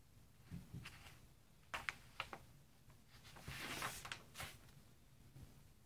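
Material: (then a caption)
Coated paper. Fingertips with painted nails rub and smooth the thick, glossy paper pages of a large open magazine lying on dark fabric, then turn a page. Quiet, soft rubbing is broken by crisp, bright paper ticks and scrapes. A louder papery swish comes as the page turns, followed by a few light settling rustles.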